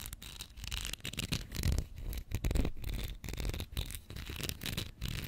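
A small Pritt glue stick, a capped plastic tube filled with glue, is held horizontally above the mic while long nails scratch and tap along its plastic body and label. The sound is a close, irregular run of dry scratching and light tapping with a bright, crisp texture over a soft low thump.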